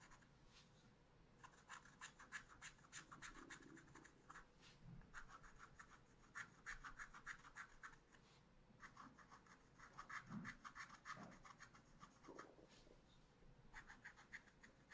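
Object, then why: Coated scratch-art paper pad and wooden stylus. A wooden stylus makes fine scratch strokes along a vine on the right side of a small spiral-bound pad of black scratch paper lying flat. The result is a quiet, dry scratching in quick, uneven bursts of short strokes with a bright, papery edge, broken by brief pauses.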